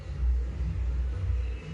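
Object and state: Nothing is struck.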